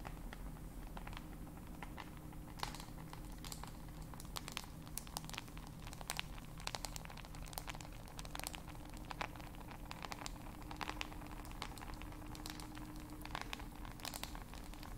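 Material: Glass, plastic.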